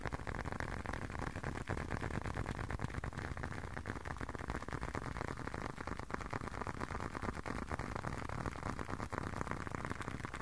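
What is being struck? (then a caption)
Closed leather long wallet. A closed, hand-sized blue leather long wallet is tapped with fingertips close to the microphone. The rapid, fairly irregular tapping produces soft, dull, muffled thuds with a low, thick body and very little brightness. Each tap dies away almost instantly.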